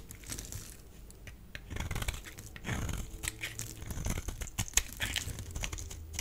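A solid rectangular pink bar of soap is held in the hand and scraped and carved with a metal utility blade, flakes breaking off. The result is a steady run of dry, crinkly scraping and crunching strokes with bright, sharp clicks and low rumbly thuds as the blade drags through the soap.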